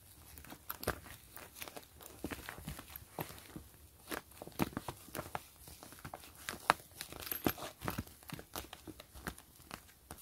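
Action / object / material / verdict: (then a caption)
scrape / clear PVC mesh zipper pouch / PVC plastic / none. Long nails scratch and crinkle the surface of a flat, clear PVC grid-patterned zipper pouch with a gray zipper, held in both hands. Quiet, crisp bursts of scratching and crinkling come in quick, uneven succession throughout, bright and papery with very short decays.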